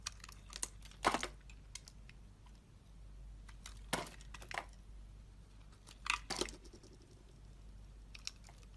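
A box-cutter blade slices curls off a solid, hand-held, rectangular coral-and-white striped bar of soap, with its packaging lying nearby. Short, crisp scraping and crackling cuts come in irregular bursts, bright and dry with almost no ring. Quiet low hum and faint ticks fill the gaps between strokes.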